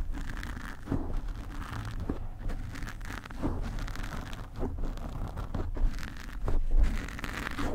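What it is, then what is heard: Foam microphone windscreen being scratched. Long nails on both hands grip and scratch a black foam microphone windscreen, producing a continuous, irregular scratching and rustling sound. The sound is dominated by a deep, muffled low-frequency rumble, with occasional louder crackling swells and little high-end brightness.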